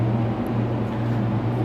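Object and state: Nothing is struck.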